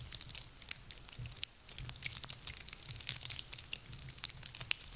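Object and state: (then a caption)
Dry pine cones. A handful of small, dry, woody pine cones is squeezed and crunched in hands with long nails. Dense, bright crackling and crunching is heard, broken by sharp, quick clicks and snaps over a faint low rumble.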